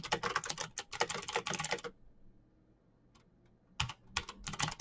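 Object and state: Mechanical keyboard being typed on.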